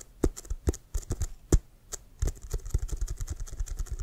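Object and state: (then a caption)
Leather American football. Fingertips quickly tap and scratch across the pebbled surface of a brown leather American football with white stripes, hollow and inflated. Short, dull, low thumps, some stronger than others, come with faint bright scratchy ticks. The taps start spaced apart and then run together in a fast, steady patter.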